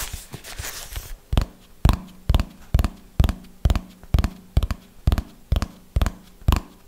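A red hardcover notebook held upright is scratched on its cover with fingernails for about a second, giving a brief bright rasp. Twelve slow, evenly spaced fingernail taps on the cover follow, each a short, dull, low thud with almost no ring.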